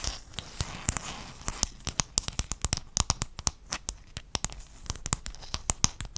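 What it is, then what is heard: Mosaic tile sheet tapped with fingernails. Fingernails tap and scratch a flat sheet of silver-blue hexagon mosaic tiles held in both hands near the mic. The result is a rapid run of 34 sharp, bright clicks over a soft scratchy rustle. Each click dies away almost instantly.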